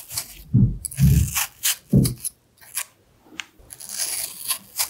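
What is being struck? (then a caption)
Red apple scraped with a small knife. A small knife scrapes and peels the skin between the carved hearts of a solid red apple held in one hand. Short, irregular bursts of crisp, bright scraping and tearing come with soft low thuds, separated by brief quiet gaps. Near the end, a steadier hiss of scraping builds.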